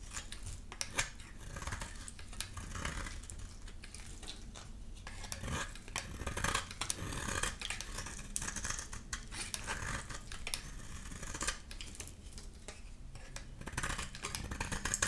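A solid rectangular amber bar of dry, painted soap with embossed lettering is held in the hand and shaved with a utility knife blade. A steady run of crisp, bright scraping and cutting strokes is heard as thin layers are pared off, each stroke short and dry, over a low rumbling background.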